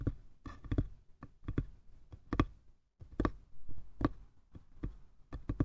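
Fingertips tap and scratch the lattice-pattern lid and sides of a small light-wood box. The sound is a quiet, irregular series of short, dull, low knocks with soft scratchy brushing between them. There is a brief near-silent pause around the middle.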